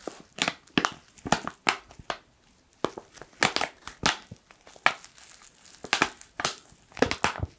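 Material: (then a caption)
Foil laminate. A black foil coffee pouch is squeezed and crushed with the fingertips, producing a quick series of sharp, bright crinkling bursts separated by short pauses. The crackles are dry and papery, with little low end, and each burst stops almost instantly.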